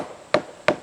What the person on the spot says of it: sounds better here it sounds like it's solid there